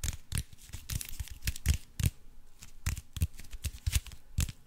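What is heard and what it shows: Fingernails scratch and tap the crinkled surface of an aluminium foil-wrapped cube held up close. It makes a quick run of sharp, crinkly ticks and scrapes, each with a bright, papery crackle over a soft low thump. Every tick dies away almost at once, leaving a faint, uneven rustle between them.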